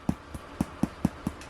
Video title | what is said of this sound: Sourdough Baguettes Made With Fresh Milled Flour (FMF) By GISP | if you tap on the bottom, they should sound hollow